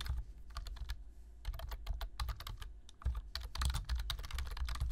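Fingertips type on a black plastic low-profile computer keyboard, producing a rapid, irregular stream of short, bright key clicks. A steady low hum runs underneath the clicks throughout.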